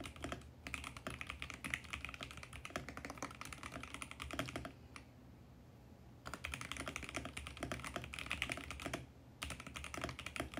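Fingertips type rapidly on a compact 65% VGN X68 mechanical keyboard with purple, mint and pink plastic keycaps in a mint plastic case, resting on a white desk. Dense, bright, clacky keystrokes run in quick bursts over a steady low hum. The typing stops for about a second around the middle and again briefly near the end.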